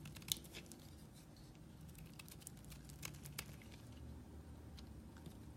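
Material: Soap.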